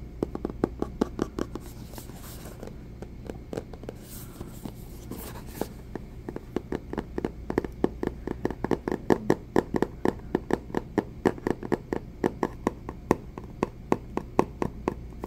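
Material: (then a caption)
Cardboard. Fingertips tap the sides and face of a small, hollow, rigid white cardboard Samsung phone box, making dozens of quick, dry, hollow knocks with a low-mid body. Some soft brushing noise runs under the early taps, and the tapping grows denser and steadier through the second half, with each knock dying away almost instantly.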